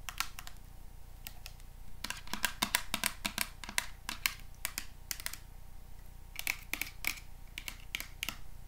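A small hollow plastic body mist spray bottle with an orange printed label, held in the hands, is tapped and scratched with paper clips worn on the fingertips as long metal nails. The result is a quick, irregular run of sharp, bright clicks with almost no ring, some in close clusters, over a steady low hum.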